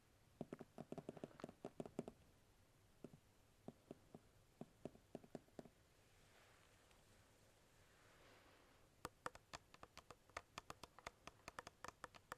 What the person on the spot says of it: Plastic taps are a little bit rough, so I try to tap it lightly.